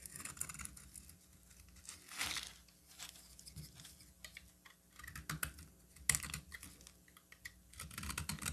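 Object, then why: Bar of soap cut with a metal blade. A metal box-cutter blade carves and scrapes a solid cream bar of soap, leaving crumbly flakes. Soft, dry scratching and crisp crumbling fill the clip, with brighter bursts of scraping near 2 and 6 seconds over a quiet low hum.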